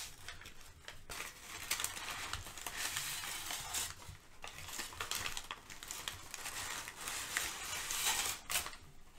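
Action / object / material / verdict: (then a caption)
scrape / kraft packing paper sheets / paper / none. Crumpled sheets of thin, flexible brown kraft packing paper lying on a rug are crinkled and rubbed with the fingers of both hands. The result is a continuous, bright, dry crackling with sharp snaps and brief quieter pauses, mostly in the high range with little low end.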